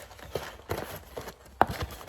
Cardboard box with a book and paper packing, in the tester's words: how you definitely know it's good is if you shake it, so you hear some stuff. This definitely needs more paper.